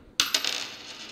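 A copper 1982 Lincoln cent, already identified as copper by its weight, is dropped onto a table to demonstrate the drop-sound test. It lands with three bright, high-pitched metallic clinks, each settling into a short bounce and a ringing ping around 2.9 kHz that fades quickly.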